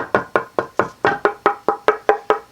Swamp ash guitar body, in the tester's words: has a much better tap tone. You can hear the ring on this body. Significant ring.